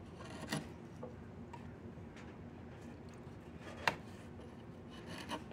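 A wood-handled chisel scrapes and carves the surface of a long, solid diamond willow walking stick with diamond-shaped knots. Quiet, raspy scraping strokes run over a low background hum. Two sharper, brighter scrapes stand out, the strongest near the four-second mark.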